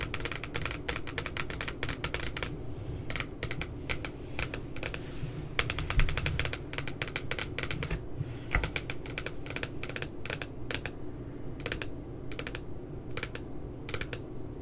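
Long nails tap rapidly near the bottom of the glossy cardboard front cover of a spiral notebook with a puppy design. Bursts of crisp, bright clicks come in quick runs with short pauses, each tap dying away almost instantly over a steady low rumble.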